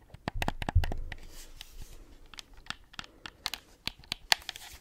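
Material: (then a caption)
Plastic. A white plastic gamepad with pink buttons and a hollow shell is scratched and tapped with long acrylic nails, partly turned sideways near the mic. About sixteen short, dry, bright clicks stand out over soft scraping, with a low hollow thump and rustle near the start. Each tap dies away almost instantly.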